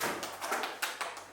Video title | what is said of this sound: Crash du drone pendant un roadtrip en Charente maritime, interview d'un ostréiculteur #vanlife | Et elles n'ont plus d'eau dedans. Donc, du fait qu'elles aient plus d'eau, c'est pas plein, ça sonne creux.